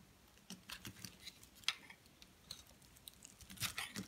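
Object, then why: Bar of soap scraped by a metal blade. A metal blade scrapes flakes off the top of a solid white soap bar held upright in the hand. It makes quiet, bright, crisp crunching scrapes in short bursts that stop almost instantly, with little low end.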